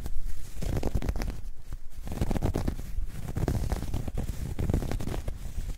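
A dark grey ribbed knit fabric bag, soft and hollow, is crumpled and scratched with long nails and fingertips. The result is a continuous, deep, muffled scratching and rustling with a low rumble, made of dense overlapping strokes and a few faint brighter scrapes on top.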